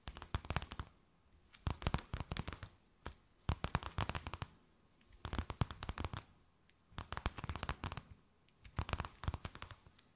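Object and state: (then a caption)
Thin plastic bag, crinkled. A thin, empty, clear plastic bag held between both hands is tapped, scratched and crinkled with long nails. Six bursts of sharp, crisp crackles and taps, bright across the whole range, are separated by brief near-silent pauses.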